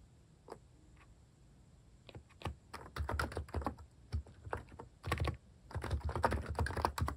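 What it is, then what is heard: Plastic keyboard typing. Fingertips type at a moderate pace on a compact plastic mechanical keyboard with plastic cat keycaps. A few isolated taps open the clip, then the typing builds into dense bursts of deep, muffled clacks with a strong low thump and short decay.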